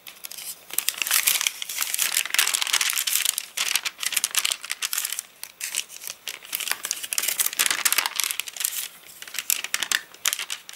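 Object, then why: Paper catalogue pages. Fingertips pinch and crinkle the edges of a rain-warped, rain-dried paper catalogue and flip its pages. The result is a dense, continuous stream of bright, dry crackles and rustles with no low end, swelling and easing with brief quieter gaps.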